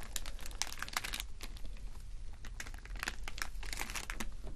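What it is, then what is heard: Plastic rhinestone sticker sheet. A clear plastic rhinestone sticker sheet, with rows of small acrylic rhinestones, is scratched and tapped with short fingernails. Dense, bright crinkling and quick clicky taps run steadily over a low, constant hum.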